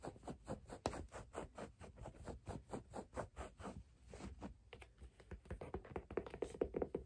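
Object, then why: Leather figure skate boot. Long black nails tap rapidly on the side of a laced, hollow, empty white leather figure skate boot with a wooden sole, which rests on a plush toy. The result is a steady run of soft, dull, mid-pitched taps with very short ring, broken midway by a brief, scratchier brushing passage before the tapping resumes.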